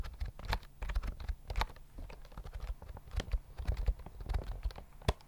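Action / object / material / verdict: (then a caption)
tap / plastic keyboard with round keys / plastic / none. A full-size white plastic keyboard with round mint keys and a hollow body, held near the mic, is typed on with fingertips. A quick, uneven stream of short, dry clacks comes through, each with a deep, hollow low thud and only a faint bright click on top. Every keystroke dies away almost instantly.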